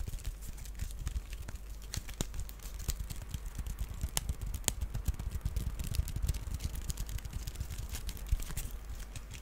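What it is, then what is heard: Wicker basket scratched. An empty, small, hollow woven wicker duck basket is held in the hands and scratched along its weave with fingernails. Dense, rapid dry scratches and clicks crackle throughout over a low rumble. The scratching is quiet and continuous, with brief bright ticks that die away almost instantly.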